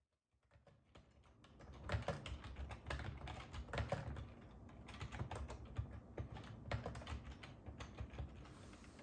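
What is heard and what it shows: Fingertips of both hands type on the hollow keys of a black and silver ergonomic plastic computer keyboard resting on a wooden table. Fast, uneven taps fade in and run steadily throughout, each a short dull click with a low, thumpy body and a bright tick on top.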